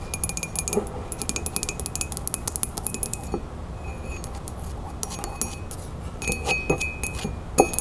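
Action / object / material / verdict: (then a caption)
tap / ceramic coffee mug / ceramic / none. Long nails, with rings worn on the fingers, tap quickly on the sides of a hollow, printed ceramic coffee mug standing on a table. The result is a run of bright, glassy clinks and clicks that die away almost at once, with a brief pause in the middle and a few louder taps near the end, over a steady low background rumble.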